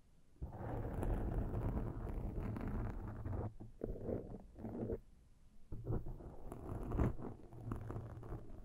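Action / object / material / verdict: scrape / foam microphone windscreen / foam / none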